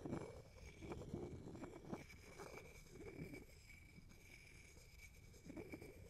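A wooden pestle knocks and grinds inside a hollow, empty wooden mortar held in the hand close to the mic. Five dull, woody knocks with short decay stand out above a quiet, irregular scraping and rubbing, with a faint steady tone in the background.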